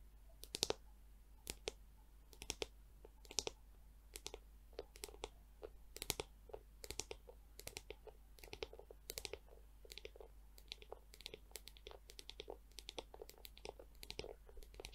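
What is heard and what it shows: Long acrylic nails tap and click on the hollow domed back of a small hand-held pink plastic scalp massager brush with clear plastic bristles. Many quick, dry, bright clicks come in an irregular, busy rhythm over a faint steady low hum, with no ring after each tap.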